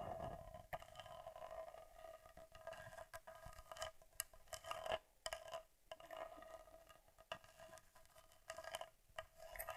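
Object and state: Metal and leatherette camera body.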